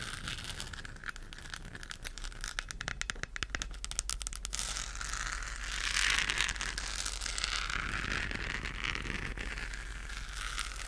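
Long acrylic nails rapidly tap and scratch a hollow, lit, textured plastic galaxy moon lamp globe. The first few seconds bring quick, dense, crisp clicks; these give way to a continuous bright scratchy rasp that swells around the middle and then settles. A steady low hum runs underneath throughout.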